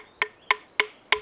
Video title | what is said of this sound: Climbing Tools: The Bolt | I'll tap and listen for any Hollow sounds so if you can hear that that's that's pretty solid rock that's not moving